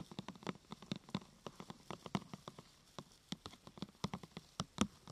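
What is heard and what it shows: Long nails tap a thin, glossy purple plastic sheet curved into a hollow half-tube, striking it from the side and the top. About two dozen quick, uneven taps come at a quiet level, each a short, dry click with a low hollow knock and a bright tick that dies away almost at once.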